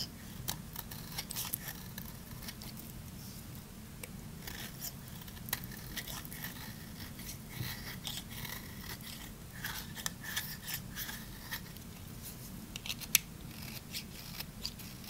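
A solid, dry, bright green Fa bar soap is held in the hand and scraped and shaved with a small knife blade. Dry, crisp scraping and crunchy shaving sounds come in rapid short bursts with bright, high flecks, over a steady low hum throughout.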